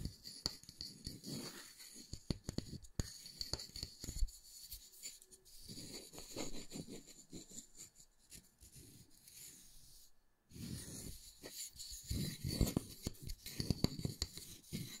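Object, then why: Round wooden disc. A solid round wooden disc is held in the fingers while nails and fingertips scratch and tap across the wood. The quiet, close sound mixes dry, short taps with soft scraping and a faint bright hiss, pausing briefly before the tapping and scratching resume.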